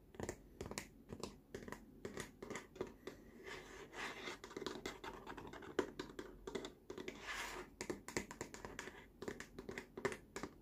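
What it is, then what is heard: Plastic baby walker tray. Fingertips and short nails tap and scratch the side of a large, hollow, green molded plastic baby walker tray bearing a Lucky Baby logo. Quick, dry, hollow taps with very little ring come in bursts, with a midrange knock around 370 Hz. They alternate with brighter stretches of rasping scratches on the plastic.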